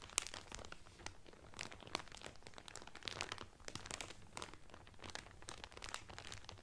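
Both hands press and crinkle the clear cellophane wrapper around a blue Carnival cotton towel folded flat. Dense, bright crackles and crunchy rustles run continuously for almost seven seconds at a soft level, each snap dying away at once.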